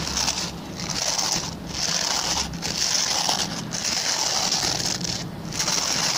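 Fingertips and short nails scratch the plastic pin bristles of a hand-sized, oval white plastic brush. The result is a steady, bright, crackly scratching, mostly in the high range, that briefly dips at intervals between strokes.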